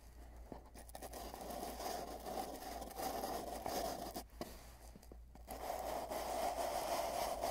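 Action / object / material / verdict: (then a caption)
scrape / cardboard tube / cardboard / none. Fingertips rub the ends of a long, hollow, empty cardboard tube with tape bands, then tap and rub along its middle. The result is a soft, continuous scratchy scraping with a hollow resonance around 600 Hz over a faint low hum, briefly dropping out twice before the rubbing swells louder toward the end.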